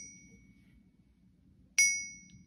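An authentic 10 oz Royal Canadian Mint silver bar is tapped once on a ping pad for comparison. It gives a single bright, high metallic ring with sharp tones around 2 kHz that fade smoothly over about half a second. This is the expected ring of real silver.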